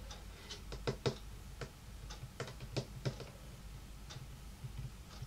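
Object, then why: Wooden tabletop tapped with fingernails and fingertips. Long painted nails and fingertips tap and lightly knock on a large, solid, dark wood-grain tabletop. The taps come as an uneven series of short, dry ticks with a soft low thud, each dying away almost instantly over a steady low background hum.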